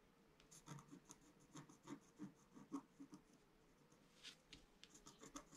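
A pointed wooden stylus held in the fingers scratches a flat, roughly A4 black-coated scratch-art sheet over rainbow foil that is lying on a table. A quiet series of short, dry scratching strokes rasps unevenly, each with a soft low-mid body and a bright, hissy edge that stops almost at once.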